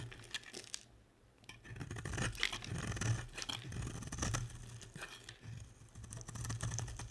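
A box-cutter blade scrapes crumbly shavings off a solid, dry, hand-sized blue and white striped bar of soap held in the hand. The result is a quiet run of dry, crunchy scraping and tearing sounds with bright crackle, over a steady low hum.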